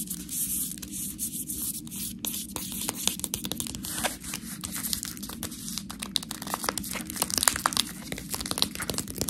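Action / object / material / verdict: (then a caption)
scrape / clear plastic bag of fresh pasta / plastic / none. Long nails scratch and tap the side and front of a full, clear plastic package of fresh tortellini. The result is a dense run of bright, crinkly scratching broken by many quick, sharp taps, over a steady low hum throughout.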